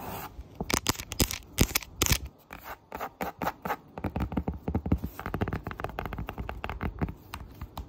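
Fingertips and nails rub and scratch the rough surface of a flat, solid, thin printed cork memo board. Dense bursts of dry scratching come in quick, uneven strokes, with a low thudding body and brief bright edges, pausing briefly before speeding up into a steady rapid rhythm.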